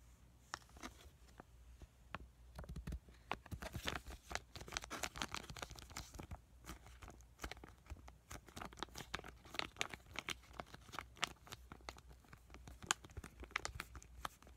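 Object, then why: Laminated plastic foil sachet with soaked mask. A small, flat yellow and green sheet-mask sachet made of laminated plastic foil and filled with a soaked mask is held in both hands, then tapped, squished and crinkled with the fingertips. A dense run of quick, sharp crinkles and light taps comes out with a soft wet squish underneath, close and quiet throughout.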